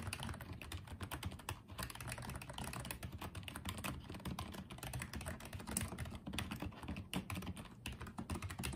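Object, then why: Plastic wireless keyboard. Fingertips type on and tap the keys of a small pink and white plastic Apeach wireless keyboard. A quiet, steady stream of rapid, soft clicks and clacks runs throughout, with a dull, low-weighted body and short decays.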